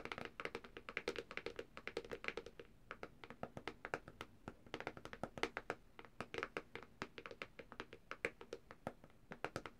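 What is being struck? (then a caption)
Plastic tablet back cover. Long dark-painted nails of both hands tap quickly across the thin, hard plastic back cover of a black Samsung tablet lying flat with its back side up and the logo showing. The result is a quiet, steady stream of short, dry clicking taps with a mid-range knock and bright tips that die away almost instantly.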